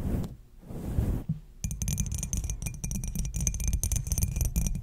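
Long pointed black acrylic nails tap and scratch a small faceted clear glass or crystal knob on top of a black domed cloche lid. A soft, low rumbling opening gives way to a dense run of quick, bright clicks and scratchy scrapes against the glass, over a steady low-end hum.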